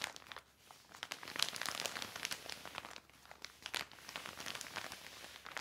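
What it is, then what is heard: Plastic sheet crinkling. A large, thin, glossy black plastic cover spread flat is rubbed and wiped by hand with a yellow microfiber cloth. This produces bright, dense crinkling and crackling, with brief quieter dips near 0.5 and 3 seconds. The sound is mostly high with almost no low end.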